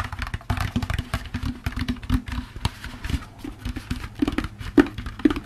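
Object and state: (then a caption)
Plastic pumpkin bucket, hollow. Fingertips tap the bottom of an upturned, hollow orange plastic jack-o'-lantern candy bucket. A quick, uneven run of soft, dull taps, each with a short hollow knock and almost no ring, with a few louder taps near the end.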